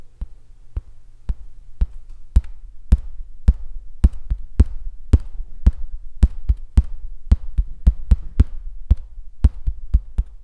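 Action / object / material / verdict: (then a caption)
tap / painted stretched canvas on a wooden frame / canvas / none. Fingertips tap and drum on the blue painted area of a large stretched canvas resting on an easel, the taut, hollow-backed fabric giving short, dull, thumping knocks. The taps come at a quick, somewhat uneven pace over a faint low hum, each one very brief with almost no ring.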